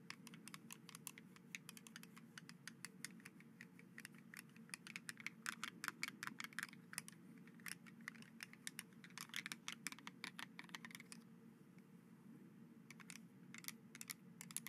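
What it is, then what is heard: Plastic skeleton hand grabber toy. White hollow plastic skeleton-arm grabber toys, held by their handles over a dark gauze cloth close to the microphone, have their fingers clacked open and shut rapidly. The result is dense, bright plastic clicking in quick irregular bursts, with short pauses, over a steady low hum.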